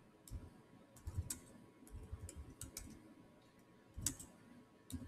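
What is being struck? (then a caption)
Laptop keyboard with plastic keys. Fingertips type continuously on the solid black plastic chiclet keys of a silver Samsung laptop keyboard. Soft, quick key clicks pair a low thud with a bright tick, falling in irregular bursts with brief pauses between them.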